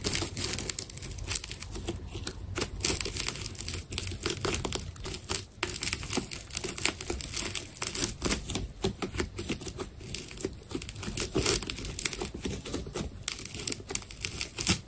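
A utility knife slices strips off the surface of a solid, palm-sized ball made of layered black and white plastic adhesive tape. The sound is a steady run of quick, dry crackling cuts with bright, crinkly peeling and tearing textures and a faint low rumble underneath.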